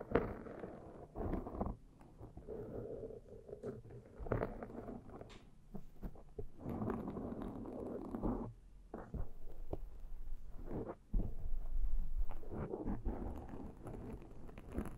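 Long metal claw rings set with rhinestones and painted nails scratch and tap the black foam windscreen of a Zoom microphone. The result is a close, muffled, dense texture of rustling scrapes and soft thuds, mostly low in pitch, with uneven bursts of activity.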